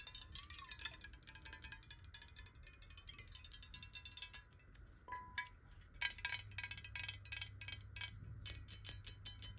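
Long nails rapidly tap a clear, square, hollow glass water bottle holding some water. The result is a dense stream of bright, glassy clicks with short ringing tones, over a faint low hum.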